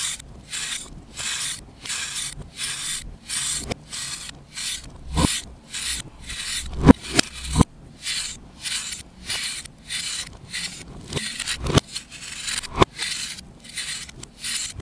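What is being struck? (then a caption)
Compressed baking soda or chalk block. A knife blade slowly scrapes the surface of a solid compressed baking soda or chalk disc held in the hand, shaving off fine powder. A steady series of soft, airy scraping strokes gives a bright, hiss-like rasp, with a few sharper clicks where the blade catches the block.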